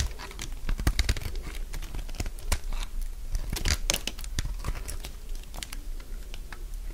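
A solid, dry beige soap bar held in the hand is shaved into curls with a metal utility blade. Rapid, crunchy cutting strokes follow one another throughout, each a short, sharp crackle that spreads up into bright highs over a low rumble.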